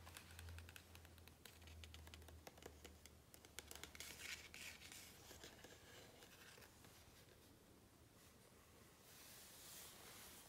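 Fingertips and nails scratch and rub across the glossy paper page of a large open hardcover book lying flat. The sound is a fast, uneven run of crisp, bright scratches and soft rubbing hiss over a faint low hum, growing into a smoother, brighter rub near the end.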